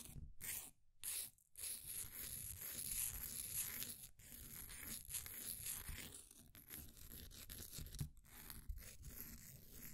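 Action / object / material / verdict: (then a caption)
scrape / pressed powder bath bomb scraped with a wooden stick / compressed powder / none. A flat wooden popsicle stick scrapes the surface of a solid, green, ball-sized bath bomb of compressed powder held in a blue plastic ring holder. Gritty, crumbly scraping strokes with a bright hiss and a low rumble run almost continuously, broken by a few short pauses early on.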